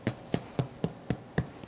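Six hollow, dull taps on the bottom of a freshly baked, still-hot soda bread loaf, each a short low thump that dies away almost at once. The hollow sound shows the loaf is baked through and done.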